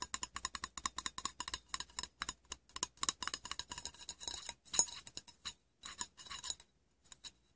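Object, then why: Aluminium tin lid. Fingernails and fingertips tap and scratch a round, shallow, hollow silver aluminium tin lid, top and inside. Quick, dry, bright clicks come in rapid bursts with almost no low end and no ring. They thin out into scattered taps near the end.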